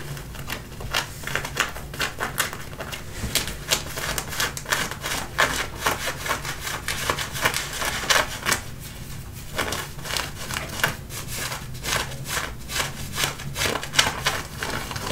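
Fingertips and nails scratch and rub the front and pocket area of light-wash distressed denim jeans being worn. The result is a steady run of quick, dry, bright scratching strokes on the fabric, with no hollow ring, over a faint low rumble.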